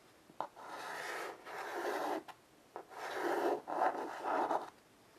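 White chalk held in a child's fingers draws lines on a solid black chalkboard with a wooden frame. Sustained scratching, rasping strokes with midrange body are broken by brief gaps and a few short ticks as the chalk lifts and touches down again.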